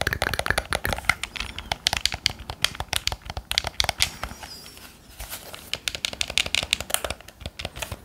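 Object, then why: Plastic game controller. Fingertips press and tap the buttons and shell of a hollow, handheld black plastic game controller held beside the microphone, giving about forty quick, bright, clicky key-like taps with almost no ring. The tapping eases into a softer, rustling stretch midway before the crisp clicks pick up again.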